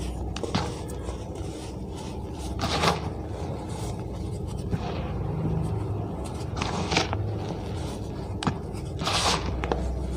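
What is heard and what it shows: Bare fingertips with short nails squeeze, scratch and rub through a bed of fine white gym chalk powder with some crumbled chalk pieces in a purple bowl, drawing lines and patting it flat. Soft, dry scraping and crunching is heard over a steady low rumble, with brief bright bursts of scratching standing out at moments.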